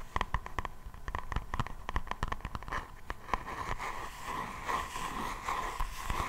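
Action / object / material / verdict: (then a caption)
tap / faux leather hardcover notebook back cover / faux leather / none. Long nails tap and scratch the black, textured faux-leather back cover of a hardcover notebook held in both hands. Quick, dry, sharp clicks come first, then give way to a steadier, rasping scratch. A faint, constant tone sits around 1 kHz throughout.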